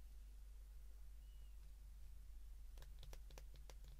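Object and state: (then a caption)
Plastic phone keypad buttons being pressed. A white plastic flip phone is held in both hands while its keypad buttons are pressed with the fingertips. After a stretch of steady low hum, a quick run of sharp, bright, typing-like clicks sounds in the second half of the clip. The clicks are quiet and dry, fading almost instantly.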